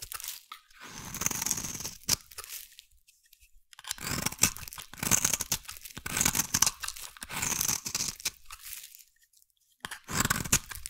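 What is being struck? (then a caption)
Bar of soap cut with a metal blade. A metal blade carves a solid, hand-sized purple-and-white striped bar of soap. Dry, crisp crunching and scraping strokes come in bright, hissy bursts, separated by short silent pauses. The cuts are close and dry with almost no ring.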